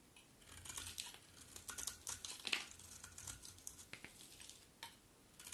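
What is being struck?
Bar of soap cut with a knife blade.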